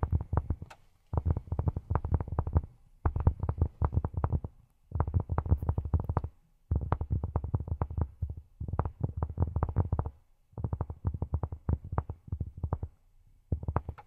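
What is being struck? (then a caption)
Cork surface. Cork is tapped with silicone rubber pads on the fingertips in quick bursts of rapid, soft taps separated by short pauses. Each tap is a dull, deep thud with almost no ring, giving a muffled, drumming patter.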